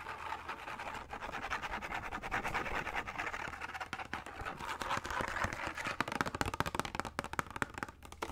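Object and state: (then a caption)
Plastic case. A small, hollow, translucent blue plastic case is held in both hands and rapidly tapped and scratched with fingertips and nails. The result is a dense run of quick, dry clicks and scratchy rasps centered in the midrange, with sharper, louder taps toward the end.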